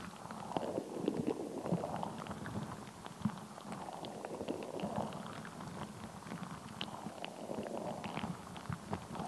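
A fist-sized, translucent, soft rubber stress ball full of colored gel beads is squeezed close up, and tapped and scratched with long nails and fingertips. Soft, wet squishing and low rumbling mix with quick clicky taps and brief bright scratches, all at a quiet level.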